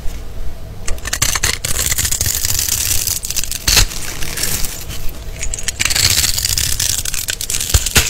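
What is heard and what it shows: A palm-sized, solid rectangular black-and-white striped bar of soap, held in the hand, is cut into a grid by a small green-handled blade, which then scrapes off the small cubes so they fall onto shavings. The blade makes a steady run of crisp, bright scraping and crackling ticks over a low rumble, with a few sharper snaps as cubes break free.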